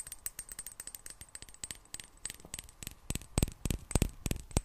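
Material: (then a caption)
Glass. A small clear glass bottle with a gold cap, partly filled with liquid and held in one hand, is tapped with long black nails. A quick, uneven run of light, bright clicking taps dies away almost instantly, growing louder and sharper in the last second or so.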